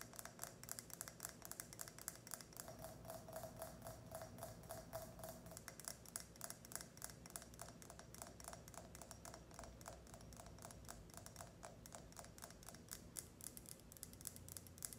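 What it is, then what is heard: Ridged glass tumbler. A tall, empty, clear ridged glass tumbler is held sideways and tapped and scratched with long red nails. Quick, irregular, bright clicking taps continue throughout, each dying away almost at once. A faint glassy ring sounds for a few seconds in the middle.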